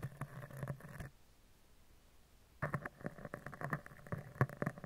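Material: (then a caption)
Steel mesh. A spoolie brush with dark bristles is brushed and scratched along a round, hollow steel mesh microphone grille, moving from the side to the top. Close, low, papery scratching comes in quick strokes for about a second, then goes almost silent before resuming in denser, louder bursts of rubbing and short scrapes until the end.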